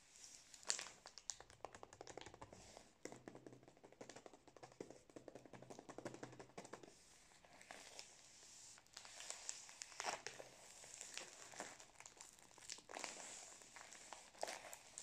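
Fingertips and nails tap and crinkle the printed plastic wrapper of a full cylindrical pack of Prince biscuits, about 20 cm long. The result is quiet, bright, dry crinkling with many rapid, sharp taps and short rustles throughout, each dying away almost instantly.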